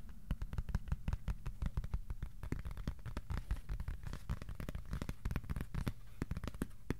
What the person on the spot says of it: this cardboard piece that sounds like heaven